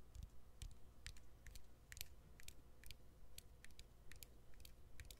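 Fingernails tap on the exposed battery and plastic frame of an opened smartphone with its back cover removed. About 18 quick, short, bright clicks land in an uneven rhythm over a steady low hum.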